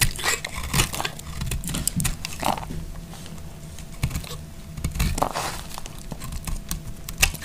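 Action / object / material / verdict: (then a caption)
scrape / bar of soap / soap / none. A hand-held, hand-sized solid green marbled bar of dry soap is carved with a utility knife blade, producing crunchy, crackly scraping cuts that shave off flakes. Short bright scrapes and crisp snaps come in irregular bursts over a low, soft rumble.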